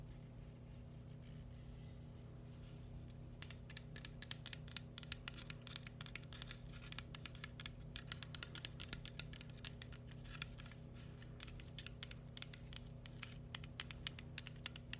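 A round, brown, hand-sized hollow coconut shell is tapped and scratched with fingertips and nails. Quiet, dry clicks and scratchy rustles start faintly, then come in dense, rapid bursts over a low, steady hum.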